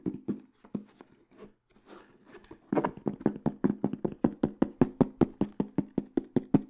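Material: Aluminum.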